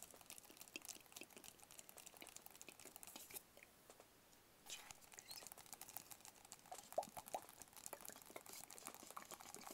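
Fingertips and nails tap rapidly on the sides of a small, hollow, white rigid cardboard box, making quick, dry, bright clicks that stop dead with no ring. The light patter runs steadily, pauses briefly near the middle, then resumes with a few slightly firmer taps.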